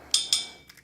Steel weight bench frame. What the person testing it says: here where it's dead it doesn't continue to ring very long